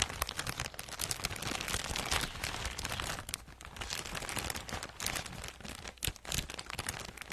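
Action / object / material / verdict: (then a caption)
scrape / soft plastic mailer bag / plastic / none. A medium-size, soft and flexible teal printed plastic poly mailer bag, apparently empty, is held in both hands and scratched and crinkled with long acrylic nails in front of a fluffy microphone. A dense, continuous stream of bright, crisp crinkling and scratching is heard, with quick sharp crackles and no talking.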